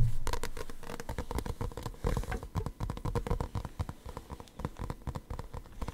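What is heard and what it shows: Fingertips and nails tap and scratch the glossy printed paper cover of a small paperback manga with a solid stack of pages, held close to the mic. Quick, irregular taps and dry scratches come in a dense flurry, with a soft, low-heavy thump under each short, crackling contact.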